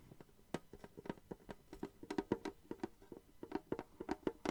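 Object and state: Metal tin being tapped.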